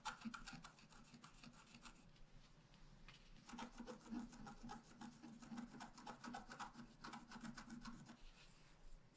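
A wooden stylus scratches the upper left flowers into a flat, black-coated scratch-art paper card. It makes quick, dry, raspy strokes with a bright, papery edge and a faint low hum underneath. The scratching eases off for a moment around three seconds, then picks back up in denser, louder bursts.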